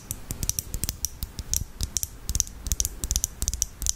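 A small clear lip gloss tube filled with red gloss, with a black cap, is held close and tapped with long acrylic nails. The result is a quick, irregular run of sharp, dry clicks with a bright high tick on top and a soft low thump underneath, each dying away almost instantly.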